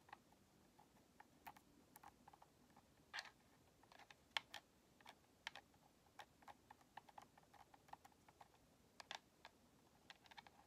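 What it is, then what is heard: Plastic game controller tapped with fingernails. Long nails tap the thumbstick grips and face of a white, hollow plastic Xbox controller, making about nineteen quiet, sharp, bright clicks that die away almost instantly. The taps come at an uneven pace over a faint hiss, with almost no low end.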